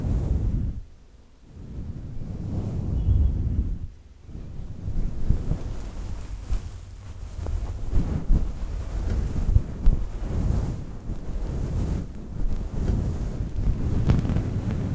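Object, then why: Faux fur microphone windscreen. A fluffy synthetic faux fur microphone windscreen, cupped in both hands, is scratched with long nails. The result is a deep, rumbling, muffled rustle that swells and fades, with two near-silent dips, and it sounds almost like wind buffeting a microphone.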